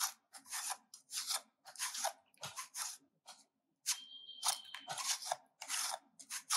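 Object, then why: Bar of soap scraped with a metal grater. A solid pink soap bar, held in the hand, is scraped with a stainless-steel hand grater in continuous strokes that produce curled shavings. Each stroke makes a bright, dry, rasping crunch with short pauses between them, and a faint steady tone sounds briefly midway.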